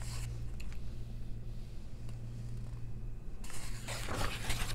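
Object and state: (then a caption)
Paper coloring book, pages scratched and turned. Long nails slide over the pages of an open paper coloring book and turn them. A brief dry scratch opens the clip, quieter faint scrapes follow over a steady low hum, and a louder, bright rustling page flip fills the last second and a half.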